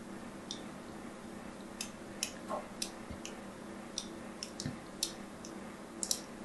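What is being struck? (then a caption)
Bar soap. A thin needle quickly scores scratches across the surface of a solid white bar of soap. About twelve short, bright ticking scrapes stand out over a steady low background hum, each fading almost instantly.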